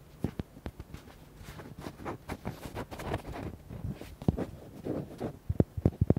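Fingernails tap and scratch a palm-sized, red, hollow rubber duck toy. Quick, dry, low taps come in irregular bursts, with soft scratching in between and sharper taps near the end.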